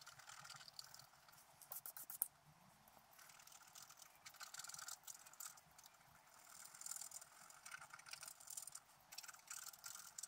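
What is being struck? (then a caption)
Coated scratch-art paper sheet with wooden stylus. A wooden stylus scratches the coating of a flat black coated scratch-art paper sheet lying on a table. Quiet, bright, scratchy strokes come in uneven bursts with almost no low end, building in a few louder stretches.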